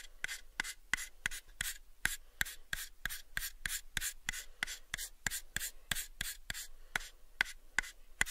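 Fingertips slowly rub and scratch the faces of a light, pale, unfinished hollow wooden box, about a 7-inch cube, held in both hands. About 25 short, dry, bright scratching strokes fall in a steady rhythm, each with a raspy tone near 2 kHz that dies away almost instantly. Between strokes there is a quiet, faint rustle.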